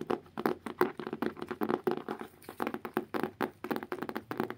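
A solid blue hardcover book, about notebook size, is held upright while fingertips and nails scratch and tap its cover. About two dozen quick, dry taps with short rasping scratches follow one another in an uneven rhythm. Each tap has a dull, woody tone around 360 Hz that dies away almost at once.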